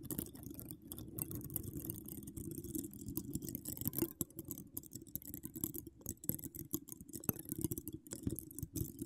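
A hollow woven metal mesh microphone dome is scratched with long acrylic nails decorated with donut charms. It makes a dense, continuous run of low, muffled rasping and tapping with short, crisp high-frequency scratch bursts and almost no ring.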